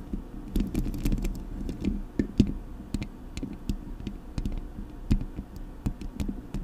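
Long nails tap and scratch both sides of the hollow metal mesh grille on a Blue Yeti microphone. Quick, irregular, soft taps land as dull, boomy thumps centred near 200 Hz, each with a faint bright tick. A low scratching rustle fills the gaps between them.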